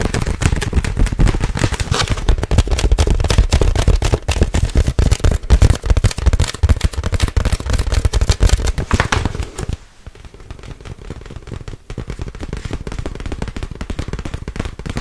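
Long white nails tap rapidly and aggressively on a clear, inflated plastic air cushion bag, producing dense, crackly, irregular clicks with a heavy low thump. Around the ten-second mark the tapping turns much softer and lighter and continues to the end.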